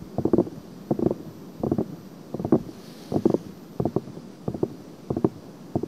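Long painted nails and fingertips of both hands scratch and rub the two pink-white silicone ears of a 3Dio-style binaural microphone on a stand, each a solid, soft, rubbery ear set in a plastic ring. Short bursts of muffled, low-mid scratching and rubbing repeat at an uneven pace over a quiet hiss, with no bright edge.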